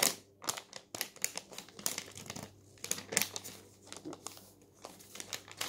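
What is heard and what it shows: Fingertips lift, flip and rub the thin newsprint sheets of an open paper newspaper lying on a table. The result is a quick run of bright, crisp crinkles and rustles, each dying away almost at once, with short near-silent pauses between them.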